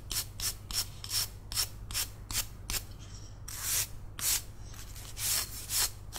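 A palm-sized, solid, carved wooden cat figurine is turned in one hand while its surface is scrubbed with toothbrush bristles. A series of short, bright, hissing brush strokes is followed by longer, louder scrubbing passes over a low steady hum.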